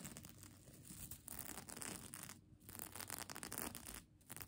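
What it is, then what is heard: Plastic sequin blanket. Long nails scratch over the plastic sequins of a folded sequin mermaid tail blanket held in one hand. The result is a dense, bright, crinkly rasping that comes in continuous bursts, with brief quieter gaps around 2.5 and 4.1 seconds.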